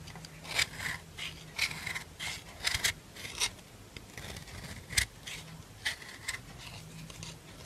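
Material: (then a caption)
Soap. A solid white bar of soap held in the hand is rasped along its side with a black metal nail file, sending fine soap powder falling. The clip is a series of short, dry, bright scraping strokes of uneven strength, with a faint low hum between them.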